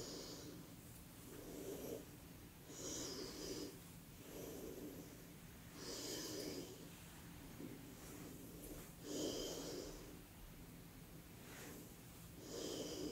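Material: Nothing is struck.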